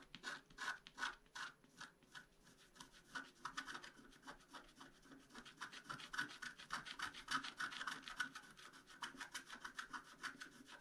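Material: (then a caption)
Coated paper. A wooden stylus makes rapid, short scratches across a flat black-coated scratch-art card. Dry, rasping strokes repeat at an uneven pace of about three to four per second, each one brief, bright and papery, with a tonal edge near 1.5 kHz and almost no low end. The sound stays quiet and close throughout.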